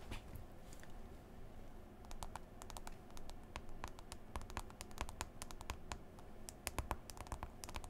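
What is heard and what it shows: Long nails and fingertips tap and scroll across the glass touchscreen of a smartphone in a white folio case, giving a scratchy sound. Many short, bright clicks land over a quiet, low, steady rumble, with faint rustling between the taps.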